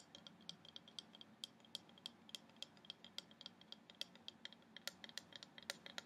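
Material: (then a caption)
Wood. Polished long nails tap and scratch across a medium flat carved wooden orca wall plaque with a reddish finish and solid and open cutwork. A quiet, rapid series of short, bright clicks sounds over a soft, continuous scratching, each tap dying away almost instantly.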